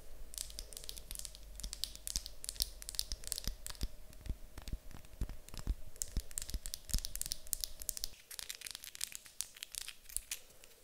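A small, light-coloured solid wooden cube held in the hands is tapped and scratched with long acrylic nails. The result is a rapid, dense stream of sharp, dry clicks with bright, high crackle and very short decay, over a faint steady hum that drops away near the eighth second.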